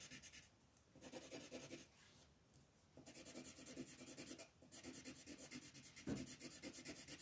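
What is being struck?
Wooden colored pencil on a paper coloring page.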